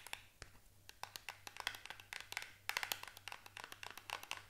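Long nails scratch and tap across the faces and corners of a small paperboard product box. The result is a quiet, rapid, irregular run of dry, bright clicks with a light scratchy texture between them. Each tap dies away almost instantly, over a faint low steady hum.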